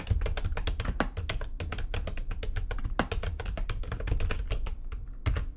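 Fast typing with long nails and fingertips on a full-size plastic computer keyboard with white backlighting and a hollow housing. A rapid, steady stream of short, clicky taps rides over a dense low thump, with each keystroke dying away almost at once and a few sharper strikes standing out.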